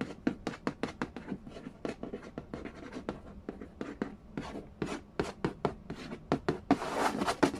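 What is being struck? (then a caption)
Cardboard game box lid. Fingertips and nails trace, tap and scratch the glossy printed lid of a flat, hollow cardboard board game box for The Game of Life lying on a wooden floor. A rapid series of short, dry, hollow taps with a mid pitch fades almost instantly, with soft tracing between them. Near the end, a brighter, sustained scratch builds up under the taps.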